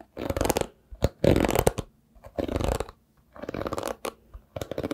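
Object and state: Bristle hairbrush.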